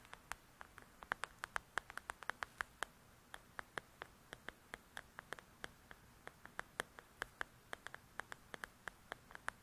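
Long nails tap and scratch the cover of a paperback paper coloring book, making about 49 quick, dry clicks in an uneven rhythm. Each tap is short and bright, with almost no ring, over a soft, steady hiss at a quiet level.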